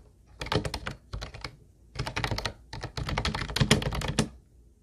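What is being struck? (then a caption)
Plastic keyboard keys. Both hands type with their fingertips on a hollow, teal plastic Ubotie keyboard with round white plastic keys. Four bursts of rapid, clacky keystrokes come with short pauses between them. Each click is short and bright with a hollow, low body.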